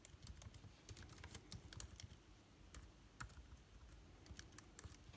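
Rapid typing on a backlit MacBook Air keyboard with hollow plastic keys set in an aluminum body, struck by the fingertips of both hands with rings on the fingers. A quick, uneven stream of short, hollow clacks is heard, each with a soft low thump and a bright tick that dies away almost at once.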